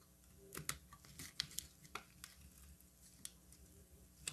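A metal utility knife blade carves into a solid orange bar of soap, with brittle chips falling onto a table. About ten quiet, dry, bright snaps and clicks stand out over a low, soft scraping bed, each ending instantly with no ring.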